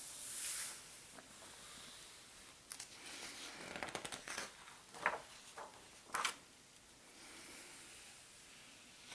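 Both palms smooth and rub the glossy map pages of a large open paper atlas, then fingers lift and turn a page. A soft, bright brushing hiss gives way to a cluster of crisp, crinkly paper rustles and sharp snaps as the page turns, before settling back into a faint sliding whisper.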